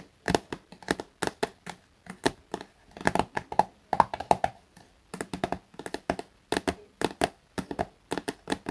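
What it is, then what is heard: Soft plastic cosmetic tube. A small, soft plastic Garnier face-wash tube that appears filled is held upright and tapped on its top and front with fingertips and short nails. About forty quick, dry, muted taps land in uneven bursts with brief pauses between them. Each tap has a hollow midrange knock and stops almost at once, with no ring.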